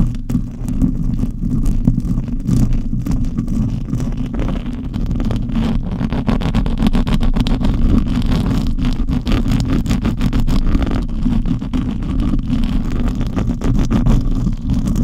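Long acrylic nails and the fingertips of both hands scratch and tap the bare silver metal mesh grille of a large condenser microphone, a hollow wire mesh dome. The result is a dense, continuous, booming rumble concentrated in the deep lows, with quick overlapping scratches and taps that stay loud and steady throughout.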